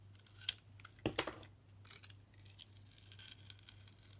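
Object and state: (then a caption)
Soap bar being shaved with a blade. A utility knife blade shaves the sparkly green outer coating off a solid red translucent soap bar held in the hand. Sharp, crisp scraping clicks stand out early in the clip, followed by softer, bright crinkly shaving. A steady low hum runs underneath throughout.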